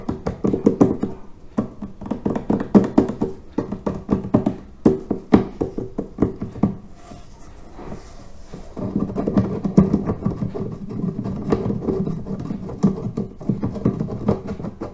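Fingertips and a hand knock and tap on the top section and lid of a large hollow terracotta water filter, giving rapid bursts of short, dull clay knocks with a low hollow tone near 200 Hz that die away almost at once. Around the middle the knocking pauses for a couple of seconds of soft, quiet contact sounds before steady tapping resumes.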